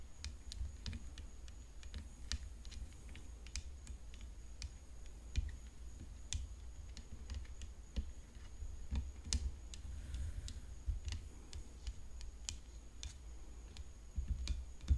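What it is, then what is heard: Graphite composite tennis racket. Long painted fingernails tap the hollow frame near the throat of a rhinestone-decorated graphite composite tennis racket lying flat on a dark cloth. Quick, light, dry clicks that die away almost instantly come in an irregular stream over a steady low hum.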